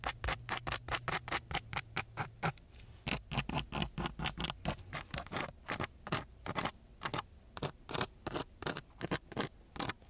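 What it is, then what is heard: Sandpaper scratched with a wooden stick. A wooden stick held in a gloved hand scratches across a coarse brown sandpaper sheet. Many short, gritty bursts sweep across the full range into a bright hiss. The rhythm is quick but uneven, with a low hum under the first few seconds.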